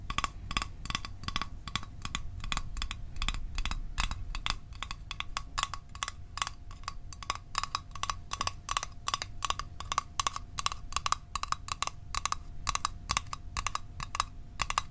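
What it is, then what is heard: Small metal mint tin. A small, hollow, rectangular printed metal Altoids Arctic mint tin is held in one hand and tapped quickly with the fingertips and short nails of the other, close to a microphone. It gives a steady stream of rapid, dry clicks with a bright metallic ping around 1.1 kHz and a low hum underneath. Each tap dies away almost at once.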